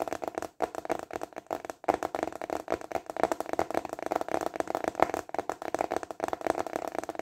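Fingertips tap rapidly on a large, flat, translucent plastic container lid held upright in both hands. The result is a dense, continuous patter of short, dry clicks with a hollow plastic tone around 670 Hz and almost no ring after each tap.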